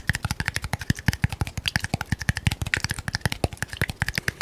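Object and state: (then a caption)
Small glass bottle. A small red labeled glass bottle is held upright and tapped rapidly with the fingernails of the other hand, making about 35 quick, sharp clicks over four and a half seconds. Each tap has a low, dull thump with a brief glassy ping near 2 kHz and fades almost at once.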